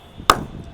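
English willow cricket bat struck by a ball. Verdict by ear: Good ping.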